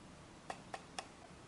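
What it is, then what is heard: Plastic computer mouse. Fingertips tap three times on a small, hollow, black plastic Logitech G100s gaming mouse as it is held and turned in the hands, its textured plastic surface rubbed between taps. Each tap is a short, light click with a hollow mid-pitched tone around 780 Hz that fades almost instantly, over a soft, steady background hiss.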